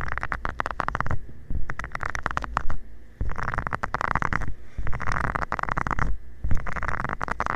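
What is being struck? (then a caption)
Silicone scrubber pad. A covered fingertip rubs and taps across the small nubs of a flat, round, green silicone scrubber pad lying flat. It makes bursts of dense, scratchy ticking over a low, muffled rumble, separated by brief pauses. The sound stays soft and rubbery with quick clicks that don't ring.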